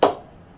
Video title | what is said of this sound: Gray Nicolls Blue MAAX HS cricket bat review - Its a beast of a bat | ये आप देख सकते हैं कि इट्स परफॉर्मिंग रियली गुड